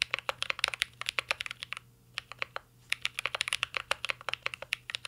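A mint-green Cyberboard R3 mechanical keyboard with plastic keycaps and an aluminum case is typed on continuously with fingertips, giving about 33 sharp, bright, clacky key taps with almost no ring. The fast bursts thin out into a few scattered taps in the middle before the rapid typing resumes.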